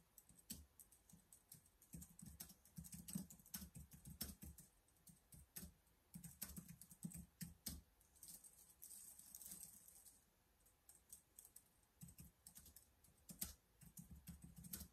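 Fingertips type fast on the keys of a black plastic laptop keyboard. Rapid, quiet clicks come in bursts with brief pauses, each tap pairing a dull low thud with a bright plastic click.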